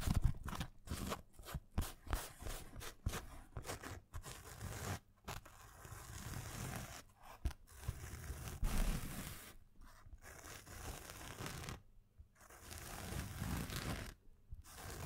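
A black nylon fabric pencil case held in the hands is scratched and rubbed with fingernails. Quick, dry scratching bursts come in rapid runs, separated by short silent pauses. The sound is dull and mostly low-pitched, with brief, crisp scraping texture.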